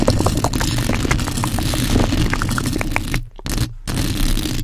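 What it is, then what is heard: Metal microphone mesh grille. Long almond acrylic nails and fingertips rapidly scratch and tap the hollow, domed metal mesh grille of a large black USB condenser microphone. The result is a dense, heavy, low-rumbling stream of scratches and ticking taps with scattered brighter clicks. It cuts out briefly twice near the end.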